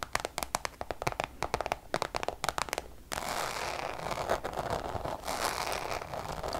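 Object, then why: Coated canvas wallet. Long colored acrylic nails tap and scratch across a small, flat, hollow brown checkered Louis Vuitton Damier coated-canvas wallet or pouch. For the first three seconds there are quick, sharp, separate clicky taps. After that comes a continuous bright, crackly scratching that lasts to the end.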